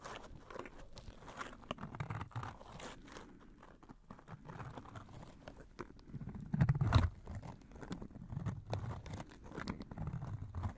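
Gloved fingers squeeze, riffle and shake a small pleated paper butterfly fan with green plastic sticks and handles, folded shut. It makes soft, dense crinkling and pattering, mostly low and muffled, with a louder burst of crunching about two-thirds of the way through.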